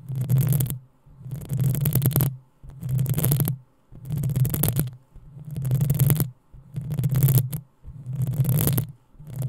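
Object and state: Metal microphone grille being scratched.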